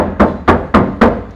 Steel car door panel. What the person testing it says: we tap on the back door and you can hear how light it is now